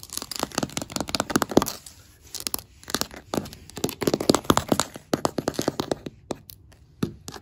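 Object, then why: Wooden floorboards. Fingertips and long black acrylic nails tap and scratch a solid oak-grain wooden floorboard surface, with a metal ring on the hand. Rapid bursts of dry, sharp clicks and scratchy rasps come in quick clusters separated by brief pauses. Each tap is bright and dies away almost instantly.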